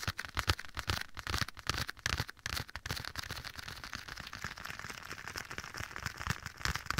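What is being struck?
Leather glove.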